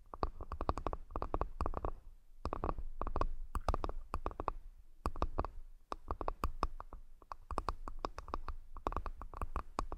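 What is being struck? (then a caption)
Wooden accessory box. A wooden accessory box is tapped repeatedly in quick, clustered bursts, giving dull, hollow knocks with short, dry decay. The taps run steadily throughout, with brief pauses between groups, and their energy sits mostly in the low thuds.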